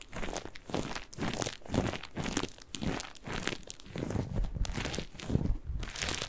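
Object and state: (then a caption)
Cellulose kitchen sponge. A single yellow and green porous cellulose kitchen sponge is squeezed and scratched with fingers and nails. It makes a steady run of soft, crinkly, crunching bursts, each with a low thump and a faint bright scratchy edge, dying away almost at once between strokes.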